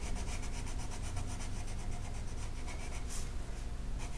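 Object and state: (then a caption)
Colored pencil on paper. A green colored pencil rubs steadily across a flat paper mandala coloring sheet, making a continuous scratchy, papery rasp. Rapid back-and-forth strokes pulse through the bright upper range, over a constant low rumble.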